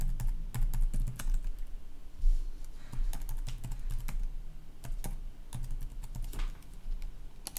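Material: Plastic.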